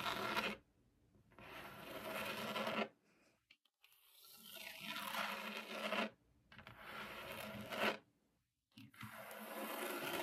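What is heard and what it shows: Long acrylic nails on both hands scratch and tap across a flat, solid white laminated desk top. Bursts of dry, bright, broadband rasping swell and fade, separated by short near-silent pauses.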